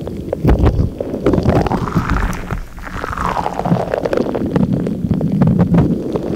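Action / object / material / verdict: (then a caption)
tap / rubber stress ball filled with gel water beads / rubber / none. A palm-sized purple stretchy rubber stress ball filled with gel water beads is rubbed, tapped and squeezed with long acrylic nails and fingertips. Low, squishy gurgles and muffled rumbles run throughout under a dense patter of quick nail taps and clicks. A soft swishing rub rises and fades in the middle.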